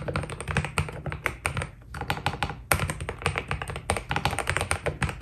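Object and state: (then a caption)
Mechanical keyboard with PBT plastic keycaps. Fingertips of both hands type steadily on a white Keydous NJ80 mechanical keyboard with PBT plastic keycaps. The result is a fast, even stream of short, dry clacks with a deep, rounded low body and bright tops, each keystroke dying away almost instantly, with a brief lull near the two-second mark before the typing picks up again.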